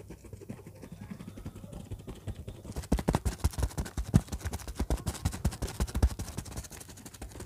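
Long fingernails scratch the textured surface of a large orange faux-leather bag with zippers lying flat. Quiet, soft scratching gives way after about three seconds to louder, rapid, uneven strokes that are dull and low-heavy, each ending quickly.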